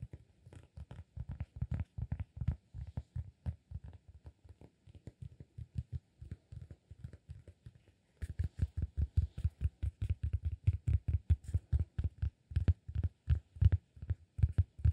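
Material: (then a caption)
Cork. A solid round cork disk held in the hands is tapped and scratched with fingertips and nails, producing rapid, soft, dull low thuds that stop short with almost no ring. After a brief pause near the eight-second mark, the tapping returns denser and louder, with a faint scratchy brightness over the thumping.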